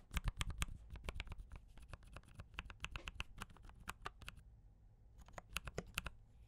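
A mechanical keyboard with cream and red plastic keycaps and brown switches is typed on with fingertips, at times with one hand. Quick, dry clicking keystrokes come in bursts over a low, soft thud, with a short pause near the five-second mark before the typing resumes.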